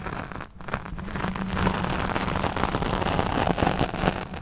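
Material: Foam.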